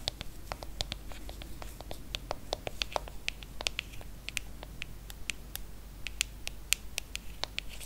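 Long nails tap and scratch across the aluminium back of a silver iPhone, producing a quick, irregular stream of about 32 sharp, bright clicks with almost no ring. Soft scratching fills the gaps over a steady low background hum.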